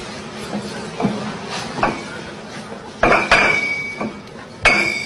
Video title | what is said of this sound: الشعب المالي ينتفض ضد التواجد الفرنسي في أراضيه(مترجم) | Il faut le voir, il faut l'entendre aussi, parce que on dirait du cristal. Vous voyez, ça sonne.